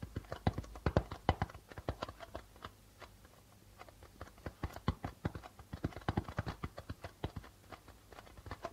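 Fingertips of both hands tap the white plastic membrane of a hollow darbuka drum in quick, uneven runs. The result is dozens of short, dry, low thumps with almost no ring, louder at the start and near the end with a softer stretch in between.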